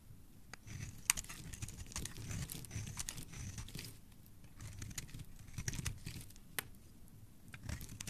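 A solid pale pink-white oval bar of white soap is held in the hand and scraped with a metal blade, so flakes and shavings peel off. Quiet, crinkly scraping and soft tearing textures run throughout, with a low rumble underneath and occasional sharp, bright ticks as the blade catches.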